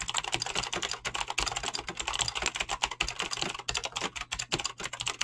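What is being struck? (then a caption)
Mechanical keyboard with clicky switches and PBT plastic keycaps. Fingertips with short painted nails type fast on a Razer BlackWidow mechanical keyboard with clicky green switches and pink-blue dyed PBT plastic keycaps, resting on a solid desk. A rapid, steady stream of sharp, bright clicks and clacks is heard, each dying away almost instantly with very little low end.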